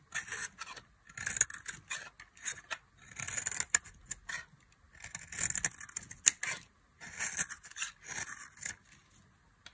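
A box-cutter blade cuts thin fringe strips into a solid orange bar of dry soap. Bursts of dry, bright scraping and crisp crackling come in quick strokes with short pauses between. Each cut stops sharply with no ringing.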